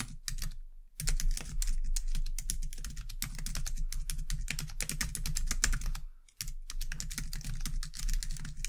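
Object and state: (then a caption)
Plastic computer keyboard being typed on. Both hands type on a white low-profile plastic computer keyboard, striking the keys with long dark-painted nails and fingertips. Continuous bright, clicky keystrokes run throughout, broken by two brief pauses, over a steady low hum.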